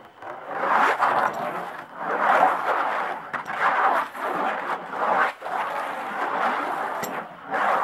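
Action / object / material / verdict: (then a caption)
scrape / tambourine with hide head and wooden frame / hide / none. Long nail tips slowly tap and scratch the hide head of a wooden-framed tambourine. The result is a series of soft, rasping scrapes that swell and fade, centered in the midrange with a faint bright edge, broken by brief quiet gaps and light taps.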